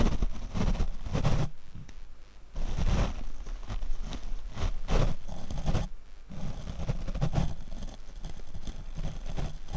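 A paint brush is swept across the black foam windscreen of a Rode microphone. It makes soft, rough brushing strokes that come in repeated bursts with a deep, muffled rumble, and there are brief quieter gaps between some passes.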